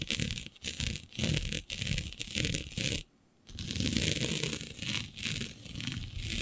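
Long nails scratch and gather a flat sheet of black synthetic stretch fabric with a shiny dotted pattern. The result is a steady series of rough, rustling scratches with both low rumble and bright hiss, broken by a brief near-silent pause near the middle.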